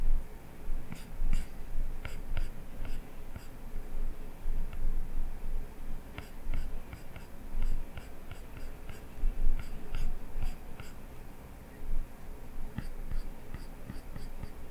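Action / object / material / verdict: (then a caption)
scrape / plastic stylus tip on a glass tablet screen / glass / none. A plastic stylus tip scratches long strokes across the glass touchscreen of an iPad. Soft, dry scraping sits over a steady low rumble, broken by short, bright taps and ticks where the tip meets and leaves the glass.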